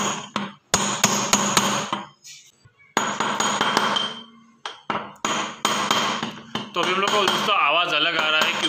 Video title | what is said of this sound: Front Load Washing Machine Repair Detail @AkashManish | você pode ouvir o som de metal significa que o rolamento entrou